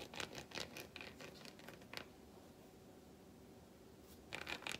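Long white nails tap and scratch a solid, flat milk chocolate bar held in the palm, turning it between its smooth back and segmented front. Quick, bright, dry clicks and scratches come in a busy cluster at the start, fade to a faint rustle in the middle, and return in a final burst.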